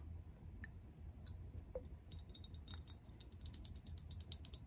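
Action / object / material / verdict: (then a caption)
tap / plastic bottle / plastic / none. Long press-on acrylic nails tap and click on a medium, clear plastic Glow Recipe toner bottle with a pink cap, partly filled with liquid. Soft, sparse, bright ticks come first, then quicken into a steady run of crisp, dry clicks over a quiet, low background rumble.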